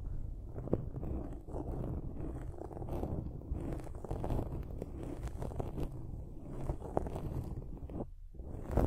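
Long nails scratch a dark foam windscreen on a silver microphone, producing a continuous low, muffled rustling and scraping with frequent soft crackles. The sound stays dense and bassy throughout, with a brief quieter dip near the end before the scratching picks up again.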